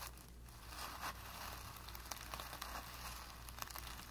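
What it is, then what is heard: Brush scrubbed on primed canvas. A flat paintbrush with light blue-tinted bristles is pressed and scrubbed back and forth across a blank white primed cotton painting canvas that is flat and taut. The dry bristles give a soft, continuous rubbing and scratching with bright, crinkly rasps and small sharp scrapes over a steady low hum.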